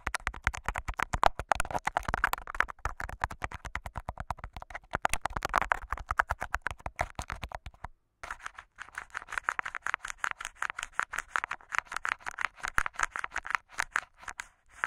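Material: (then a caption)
Plastic tape. Fingertips and short nails scratch and tap clear Scotch tape wrapped over the metal microphone grille on top of an upright handheld recorder. The result is a dense run of quick, dry crackling scratches and taps with a midrange crinkle, broken by a brief silence just before the 8-second mark before continuing to the end.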